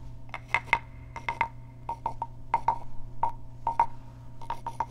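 A small, hollow, carved wooden frog guiro is scratched with fingernails and then tapped with a wooden stick. The result is a series of short, dry, woody clicks with a hollow tone near 920 Hz and brief bright edges, each dying away almost at once over a steady low hum.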